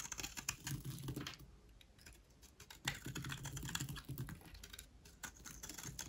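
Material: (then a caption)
Soap. A solid white rectangular bar of dry soap is held in the hand and shaved into dry curls with a utility knife blade. The result is a quick, irregular run of crisp, dry scraping clicks with bright high crackle over a soft low thud. The blade strokes come in two bursts separated by a quieter stretch.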